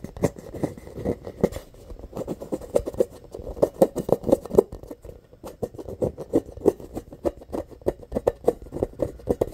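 Fingernails scratch and rub across a hollow, inflated rainbow rubber playground ball with a valve and an embossed surface. The result is a rapid run of short, dry scratching strokes with a muted midrange tone. Each stroke dies away almost instantly.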